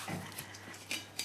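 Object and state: Fully baked bread loaf (sounds hollow).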